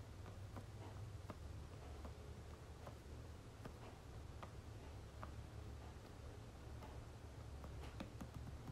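Fingertips and nails tap on the flat back of a red and gold soft plastic lotion tube held in one hand. Faint, brief ticks come through over a steady low rumble, and each dies away almost at once.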